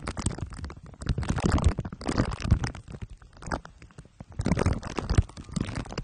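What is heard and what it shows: Two glue sticks are pressed and rubbed on top of a microphone head wrapped in crumpled aluminium foil under clear plastic wrap. The result is dense, low, rumbling crinkles and sticky crackles in several bursts, with brief quieter gaps between them.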